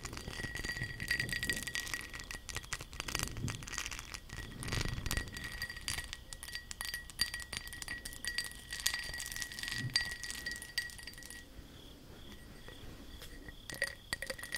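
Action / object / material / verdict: tap / textured glass object / glass / none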